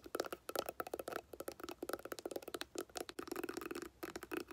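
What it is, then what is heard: Woven-covered hard glasses case, hollow. Long painted nails tap and scratch quickly across a hollow, hard clamshell glasses case covered in tan woven fabric or straw. The result is a rapid string of dry, clicky taps with a hollow midrange body and scratchy, bright texture. Each hit stops almost instantly, with no ring.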